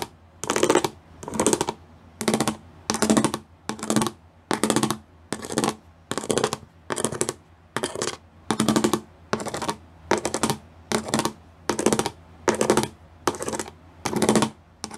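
Fingernails tap rapidly across a gray plastic sheet covered in pyramid-shaped studs, in short, regularly spaced bursts of quick clicking. Each burst is dry and bright, with a faint hollow hum near 220 Hz, and stops almost instantly before a brief quiet gap.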